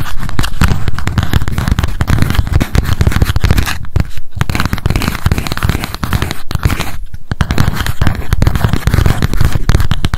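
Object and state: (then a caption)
Paper spiral memo notebook. A small pink spiral memo notebook with a cardboard cover is held up and tapped rapidly with long acrylic nail tips. The result is a dense, continuous stream of quick, dull taps with a low, thumpy body and crackly edges, with a few brief lulls along the way.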